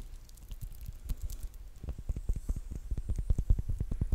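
Long painted nails scratch and crinkle the clear plastic wrap on a small, solid rectangular bar of soap held in both hands. Soft, irregular crinkling and scratching starts faint and grows into a quicker, denser patter of short taps with faint bright rustle above a dull low thump.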